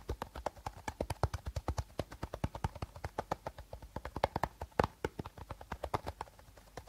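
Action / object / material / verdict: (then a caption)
tap / plastic bottle / plastic / none. A plastic bottle is tapped rapidly with short nails, giving a quick, steady run of about 49 dull, hollow clicks that sound like clip-clopping hooves. Each tap is short and dry with almost no ring, with one louder tap near the end.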